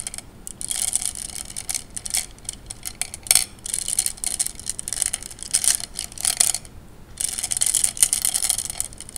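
Fingertips rub and spread glass gems around in a wet tray of water, producing a dense, steady run of bright little clacks and watery clicks. The sound stays high and crisp throughout, with short surges of busier clattering and almost no low end.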